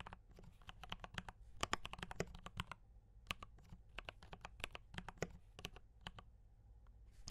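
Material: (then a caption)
Plastic. Both hands type with their fingertips on a compact D84 mechanical keyboard with brown switches and cream and red plastic keycaps. It makes a steady run of short, crisp clacks with bright tops and a dull low body, each dying away almost at once. A faint low hum sits under the typing throughout.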